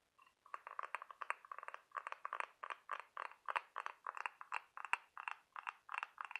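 Fingernails scratch and tap across the ribs of a large white ribbed scallop half-shell held up close. The result is quick, quiet bursts of dry, scratchy clicks and taps, centered around 1 kHz with some bright edges. They have no low end and die away almost at once.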